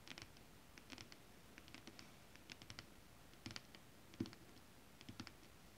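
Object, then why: Holographic scale-print fabric. Long acrylic nails scratch and tap on flat holographic mermaid scale-print fabric. Soft, quiet clicks and brief scratchy strokes come in scattered clusters, each with a bright crisp edge and a light low thump, dying away almost at once.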